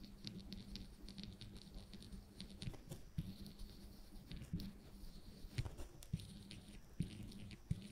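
The wire tip of a woodburning pen is scratched in quick, short strokes across a flat, thin plywood panel to shade the pipe. It makes a quiet, dry patter of soft scratches over a low, steady hum, with a few sharper ticks standing out.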